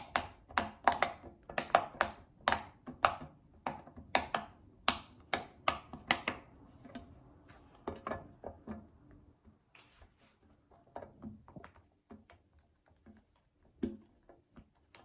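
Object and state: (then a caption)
Silicone pop-it fidget toy. A child presses the hollow bubbles of a round pink silicone pop-it fidget toy with her fingertips and flips it over. Quick, sharp, bright pops come in a fast, uneven run that thins out and grows quieter after about 7 seconds. Each pop stops almost instantly with no ring.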